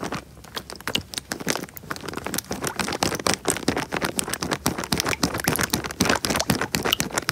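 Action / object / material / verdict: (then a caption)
scrape / plastic bag filled with water / plastic / none. A small clear plastic bag filled with water is squeezed and rubbed by fingers right against the microphone. It makes a fast, irregular stream of crinkling, crackling plastic and sloshing water. Many short, bright transients sit over a soft low body.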